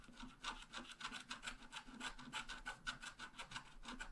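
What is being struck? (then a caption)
Wax-coated scratch art paper and wooden stylus. A wooden stylus scratches around a bicycle wheel drawn on a wax-coated scratch art paper sheet, a thin black coated card lying flat on a table. It makes a rapid series of short, dry, raspy scrape strokes with a bright, hissy edge and a steady tone near 1.4 kHz, each stroke stopping at once with no ring.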